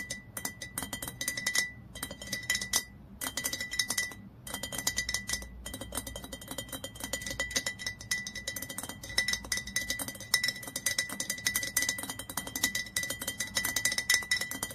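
A fingernail rapidly taps and scratches the neck and shoulder of a hollow, dark glass Basso olive oil bottle lying on its side. The result is a dense stream of quick, bright clicks and scratchy ticks with a faint glassy tone around 2 kHz that dies away almost instantly. A few brief pauses break the run in the first few seconds.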